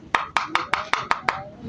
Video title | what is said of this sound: Paanu ba malalaman Kung fake ang cdi o hindi, bigyan ko kayo NG idea mga ill | parang walang laman. Ampaw